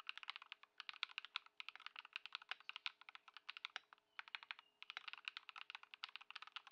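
A white Ducky One 2 SF mechanical keyboard with plastic keycaps, modded with Lumia Matcha switches and Poron foam, sits on a dark mat on a wooden desk and is typed on continuously with the fingertips of both hands. Quick, bright, dry keystroke clacks come in steady bursts with a few brief pauses, with almost no low end and a faint steady hum underneath.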